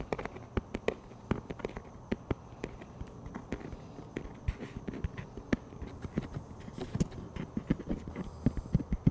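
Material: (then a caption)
Plastic. Fingertips tap on the top surface of a plastic frisbee disc held flat, making a quick, irregular series of short, dry, hollow taps. The taps are low and thuddy, die away almost at once with no ring, and sit over a faint steady hiss.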